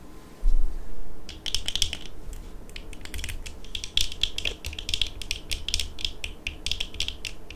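Long acrylic nails on both hands tap the frames and rims of worn eyeglasses, which are small, hollow-rimmed, with dark plastic frames and lenses. After a soft low thump at the start, irregular bursts of quick, dry, bright clicks follow. Each click dies away almost at once over a faint low rumble.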